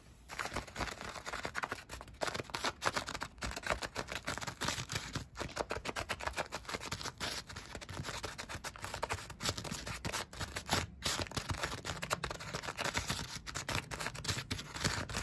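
Long white nails scratch and tap along the crinkly, shiny foil-and-plastic jacket of a large, hollow, insulated flexible HVAC air duct lying on an attic floor. The result is a continuous stream of dense, crackly rustling with quick, sharp taps and clicks that sound bright and papery, with a faint hollow low thump underneath.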